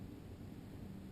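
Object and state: Nothing is struck.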